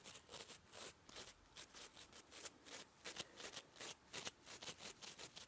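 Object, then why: Nylon toothbrush bristles. Fingertips and nails brush over the nylon bristles of a toothbrush head, making quick, soft, bright scratchy strokes. About 14 separate brushing bursts come in a loose, uneven rhythm, each a short hiss of rustle with almost no low end.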